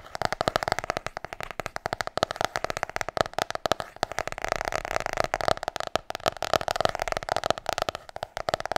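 Long nails drum rapidly and rhythmically on the cover of a large, solid, glossy hardcover book. The result is a quick, steady stream of short, dry clicks and taps with a hollow mid-range tone around 645 Hz, each dying away almost instantly.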